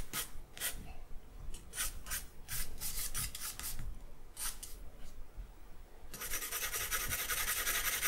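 A charcoal stick is scratched across a sheet of white drawing paper in a series of short, bright strokes, with a low background rumble underneath. After a brief lull, the charcoal is rubbed steadily back and forth over the paper, producing a continuous, dense, high rasping hiss until the end.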